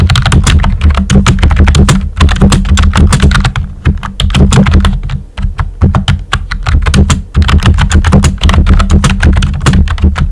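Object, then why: Plastic keyboard with round plastic keycaps. Fingertips with short nails type on a full-size pink plastic computer keyboard with a hollow body and round white typewriter-style plastic keycaps. A rapid, steady stream of clicky taps rides over a heavy, low, hollow thump. Brief pauses break the rhythm near 2, 4, 5 and 7 seconds.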